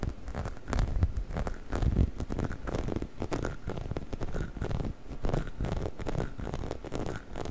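A hollow, orange, bumpy rubber chicken toy is held in the hands while fingernails scratch and rub across its surface. The result is a steady stream of soft, dense scratching and pattering taps with a dull, low-heavy tone, swelling and easing in gentle waves throughout.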